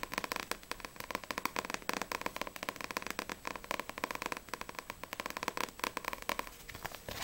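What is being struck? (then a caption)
Paperback book with glossy card cover. Long nails tap quickly and scratch across the glossy card cover of a Blue Exorcist paperback manga. Dozens of rapid, dry clicks sit over a steady scratchy texture, with a tone around 1 kHz, bright highs and almost no low end. Each tap dies away almost instantly.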